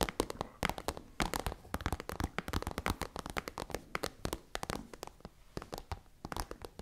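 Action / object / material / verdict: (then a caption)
tap / plastic pencil case / plastic / none. A tall, hollow, iridescent holographic plastic pencil case is tapped and scratched with long nails and fingertips. The result is a rapid, irregular stream of sharp, dry clicks and taps, with brief scratchy passages between them. Each hit is bright and dies away almost instantly.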